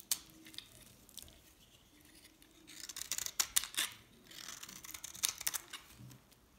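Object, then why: Bar of soap cut with a knife. A knife cuts flakes off a hand-held, solid green dried soap bar with a pink edge, and the flakes fall into a pile. Quiet, bright, crisp scraping and sharp ticking cuts come in two louder bursts between quieter stretches, each cut dying away almost instantly.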